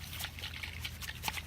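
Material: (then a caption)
Coconut husk. A fallen, fully matured brown coconut, not cut open, is shaken by the ear so the water inside sloshes; the coconut holds this water and uses it up as it sprouts. Faint, quick liquid sloshes and gurgles sit over a steady low hum.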